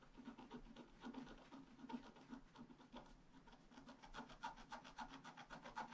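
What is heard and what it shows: A wooden stylus held in the fingers scratches the coating off a flat black-coated scratch art sheet with a metallic layer underneath, lying on a table, in short strokes. Quiet, rapid, unevenly spaced dry scraping strokes follow one another with a low rubbing body and a brighter rasping edge, each dying away almost at once.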